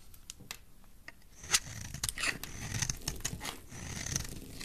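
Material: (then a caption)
Soap. A utility knife blade carves into a solid oval pink-and-white striped soap bar. Quiet, crisp scraping and cutting strokes come in a steady series, with bright, high shaving sounds over a soft low rustle. One sharper slice stands out near the middle.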